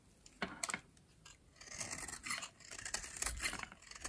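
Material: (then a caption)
Soap. A metal utility blade scrapes crumbly shavings off a yellow, oval, solid, dry soap bar held in the hand. A few sharp, dry cracks lead into longer rasping strokes, all bright and crisp with very little low end. Each scrape stops dead with no ring.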